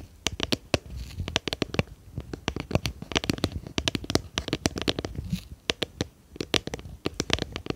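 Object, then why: Small plastic jar with lid. Long painted nails tap and scratch the sides of a small, round, clear plastic jar with a lid, hollow and apparently empty, held in both hands behind the microphone. Many quick, sharp clicks come in irregular bursts, each bright with a short hollow knock underneath and almost no ring. Soft scratching fills the gaps between the taps.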